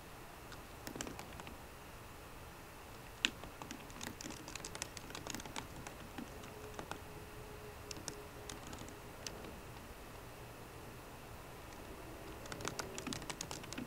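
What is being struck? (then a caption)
Laptop keyboard with plastic keys. Fingertips with short green nails tap the low-profile plastic keys of a 13-inch aluminum MacBook Pro. The result is soft, quick clicks in irregular bursts of typing, with a louder clack near the start and a denser flurry at the end, over faint background noise.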